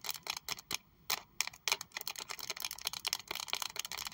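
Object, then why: Small leather wallet. Long acrylic nails tap on a small pink saffiano leather Prada wallet with a triangle plaque, held in both hands, striking both the leather and the logo. The taps come in a quick, uneven run of crisp, bright, dry clicks that stop at once with no ring.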